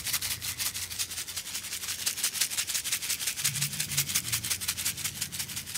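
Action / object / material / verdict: shake / paper sachet of silica gel beads / silica gel / none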